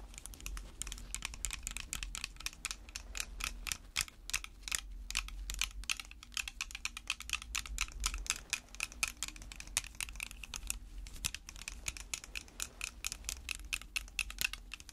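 Long red fake nails worn over white gloves tap rapidly and steadily on the sides of a clear plastic spray bottle partly filled with water. The taps are sharp, bright clicks with almost no ring, over a faint low hum throughout.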